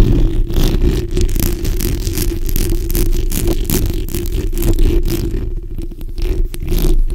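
The backs of long nails scratch across a black, hollow steel mesh microphone grille. The result is a dense, continuous scraping rumble, heavy in the low end with a steady low-mid hum, and brief brighter rasps flicker through as the nails drag over the mesh.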